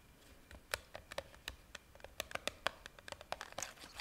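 A hand-sized clear plastic jar, filled with pink pieces and topped with a red plastic lid, is held up while long painted nails tap and scratch along its sides. About nineteen sharp, bright plastic clicks come in an uneven run over a faint scratchy hiss. Each tap stops almost instantly, and the sound stays quiet with very little low end.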